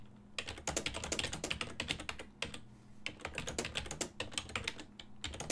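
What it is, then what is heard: Plastic computer keyboard being typed on. Fingertips press continuously on the keys of a full-size black and silver plastic desktop keyboard with a hollow housing, producing rapid, bright typing taps. The short, dry clicks come in quick bursts with brief pauses, over a steady low hum.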